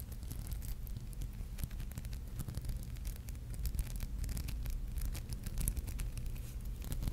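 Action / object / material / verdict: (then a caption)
scrape / glass seed-bead brooch / glass beads / none. Long painted nails scratch and rub across a palm-sized, flat, solid red and gold maple leaf brooch covered in tiny glass seed beads, held in both hands. A steady, dense stream of fine scratchy ticks and bright clicks plays over a low, soft rumble, with no pauses for the full length.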